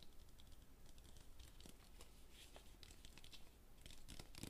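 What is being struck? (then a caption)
Plastic water bottle. Fingertips tap quickly on the body and white cap of an empty clear plastic water bottle held in one hand. The result is a quiet, steady stream of light, dry clicks and crinkly ticks with bright edges over a low, soft rumble.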